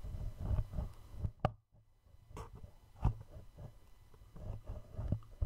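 A small, hollow black cardboard gift box is held in both hands directly in front of the mic while thumbs and short-nailed fingertips tap slowly on its flat faces. Five soft, dull, low thuds ring out, each dying away almost at once, with quieter muffled handling between them.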